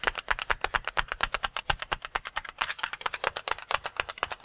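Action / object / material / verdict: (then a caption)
tap / water-filled latex balloon / latex / none. Fingertips quickly tap and pat a single palm-sized, full red-and-white latex rubber water balloon. About 37 short, soft pats come in a steady rapid stream, each a dry, muted tap centered in the mids with a bright edge and almost no ring or low end.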